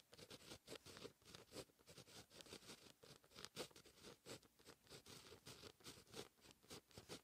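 A grey-gripped fine pen writes handwriting in steady strokes on a lined white paper notebook page. Quiet, bright, scratchy strokes come in quick, uneven bursts with short pauses between them, each stroke dry and without ring.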